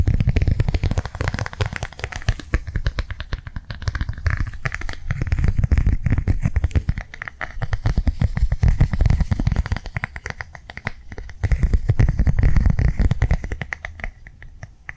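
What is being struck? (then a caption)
Plastic cardholder. Fingernails tap quickly on the face of a flat blue rectangular plastic cardholder held upright in both hands. The result is a dense, uneven stream of short, dry clicks with a soft, low thumping body. The taps swell louder and fade in waves.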